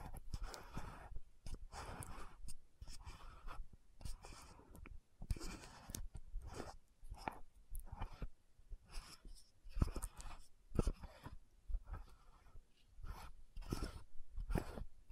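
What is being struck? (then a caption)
Frosted plastic lotion bottle with plastic cap. Long nails tap and twist the gold cap of a frosted plastic lotion bottle. Quiet, dry clicks and taps come in irregular bursts, mixed with soft scratchy rustling as the cap turns. Each tap dies away almost instantly, with most of the energy sitting low.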